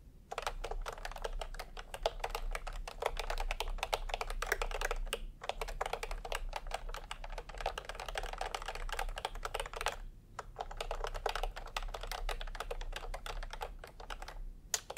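Both hands' bare fingertips type fast on a full-size pastel plastic retro keyboard with round typewriter-style keycaps, resting on white fabric. A dense, steady stream of short, clicky key presses with a bright top, pausing briefly around the middle and again near the end.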